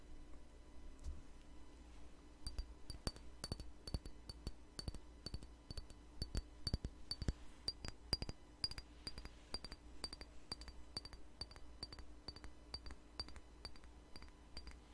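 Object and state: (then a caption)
Glass perfume bottle. A small glass perfume bottle filled with amber liquid is held in the hand and tapped with fingernails. After a quieter start, a rapid, steady series of short, bright glassy clinks with a high ringing tone begins, each dying away almost instantly over a constant low hum.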